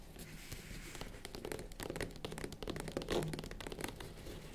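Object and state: Faux leather zippered case.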